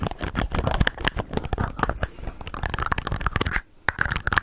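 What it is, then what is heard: Plastic bottle. Long nails tap and scratch a hand-sized, hollow white plastic bottle with an orange label. Rapid, dense clicks and scraping with a low, hollow body sound through a steady, busy texture. There is a brief quiet gap near the end before the tapping resumes.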